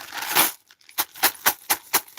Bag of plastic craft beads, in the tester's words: broken beads sound like glass when clamped together. Like it sounds like glass in there.